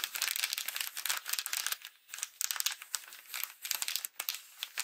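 A Halloween haunted-house paper greeting card lies flat while it is opened and closed, tapped and scratched with long glitter acrylic nails. The result is a dense run of crisp, bright crinkles and quick scratchy taps with no low end. Brief dips to near-silence break up the texture.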